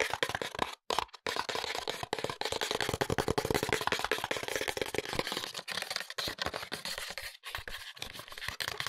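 A small printed cardboard cosmetics box with a window and a bottle inside is turned in the hands while fingertips and nails tap and scratch its sides. The result is a dense, continuous stream of quick, dry, papery taps and scratchy scrapes with bright crinkly texture, broken by a few brief silent pauses.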